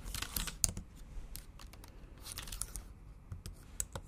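Long acrylic nails type on a MacBook Pro laptop keyboard with black plastic keys set in an aluminum body. The result is a quiet run of short, bright, clicky taps with sharp high nail ticks and no ring after each strike.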